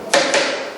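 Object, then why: Wooden firewood log. A firewood log is tapped twice to judge its dryness by how it rings. The two sharp knocks come about a fifth of a second apart, each a bright crack with a tone near 560 Hz. The sound rings on for about half a second after the knocks.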